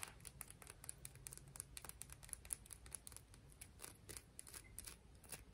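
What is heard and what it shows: A piece of coral is tapped and scratched, producing a quick, irregular series of short, dry, bright clicks with scratchy texture between them. The clicks die away instantly over a soft, steady low rumble.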